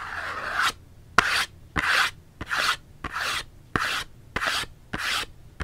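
Long fingernails scratch a small Dove cardboard soap box held upright in one hand. Short, dry rasping strokes repeat at a steady pace, each a bright papery scrape centred around 1.4 kHz with quiet gaps between them.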